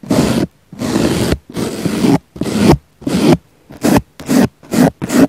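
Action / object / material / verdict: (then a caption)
scrape / soft foam sponge brushed with a small brush / foam / none. A small black brush brushes and scratches the surface of a round, solid, soft pink foam sponge. Nine separate rasping, scratchy strokes sound with short silent gaps between them, the early strokes longer and the later ones quicker and shorter.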